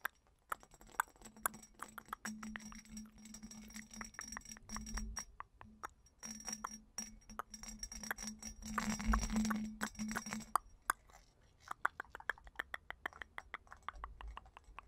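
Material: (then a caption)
Glass. A small hollow purple glass bottle with a bumpy hobnail surface is held close and tapped and scratched with long painted nails. Quick, irregular clinks and clicks mix with soft scratching over a low steady hum that drops out near the end, leaving scattered taps.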